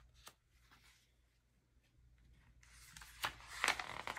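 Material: Paper.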